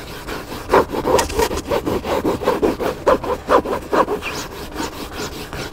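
Fingertips and nails scratch the cover of a hardcover book with a black spine lying flat. Quick, uneven strokes make a dry, rasping, sawing-like scrape with a midrange tone and little low end. Each stroke stops short with almost no ring.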